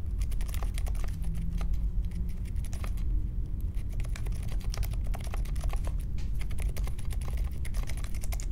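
Fingertips type steadily on the plastic keycaps of a compact Polaris mechanical keyboard with a metal case and Silent Alpaca switches, resting on a marble desk. The result is a continuous stream of soft, muted key thocks, deep in the low end, with short bright ticks and no lingering ring.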